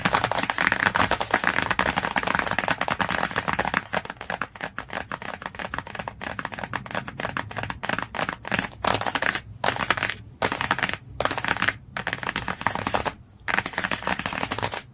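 Long nails held in a claw shape tap quickly across the glossy cardboard cover of a hardcover book. The result is a dense, crackly stream of bright clicks and scratchy strokes that breaks into short bursts with brief pauses in the second half.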